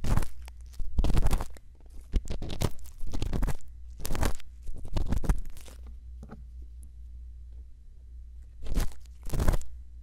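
A thin bamboo earpick scrapes inside the canal of a white silicone ear mounted on a round microphone housing, using small strokes. Heard up close as bursts of dry, crunchy scratching and rustling, with a steady low hum under the gaps.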